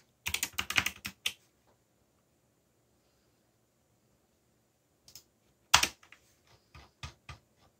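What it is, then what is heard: Plastic mechanical keyboard. Fingertips type on a backlit mechanical keyboard with black plastic keycaps, producing a quick flurry of sharp, bright key clacks in the first second. After a long silence, a few more scattered presses follow. Each click is crisp and high with very little ring.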